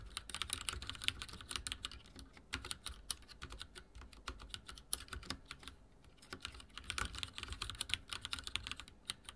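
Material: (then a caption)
Plastic. A backlit mechanical keyboard with dark plastic keycaps is typed on by fingertips, giving a steady run of quick, bright clicking taps. The keystrokes come in bursts with a brief lull near the middle. Each tap is short with almost no ring.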